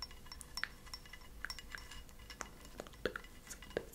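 A small white ceramic cup, held upside down, hollow and empty, is tapped with long acrylic nails. It gives quiet, irregular clinks that are bright with a faint ringing tone near 500 Hz. Each tap dies away almost at once.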